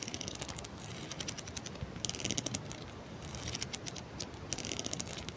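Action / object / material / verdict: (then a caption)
flick / plastic wide-tooth comb / plastic / none. Long manicured nails run across and flick the teeth of a handheld pink plastic wide-tooth comb, solid and about hand length, held in front of the mic. The result is a steady stream of bright, dry plastic ticks and scratchy strums that gather into denser rattling bursts, all over a faint low background hiss.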